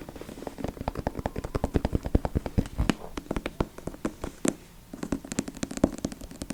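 Fingertips rapidly tap and scratch on the glossy seashell cover of the hardcover novel "High Tide." Dozens of short, dry, low-pitched taps come in quick runs, with a brief quiet pause near the five-second mark before the tapping resumes.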